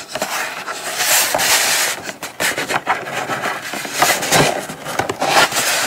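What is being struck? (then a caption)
Small kraft cardboard box. Long acrylic nails scratch and tap across the lid and sides of a small brown kraft cardboard gift box resting on a fabric mat. The result is a dense, bright, papery rasping with little low end, broken by short dry taps and brief dips in loudness.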